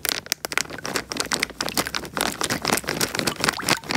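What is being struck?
Water-filled plastic bag.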